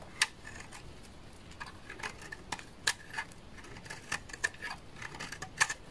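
A hand-held, solid beige bar of dry laundry soap is shaved and scraped across its face and edge with a utility knife blade. The result is a series of short, dry, crisp scrapes and ticks with a bright, papery edge. Each dies away almost instantly over a quiet hiss, with a few sharper snaps standing out among softer scratches.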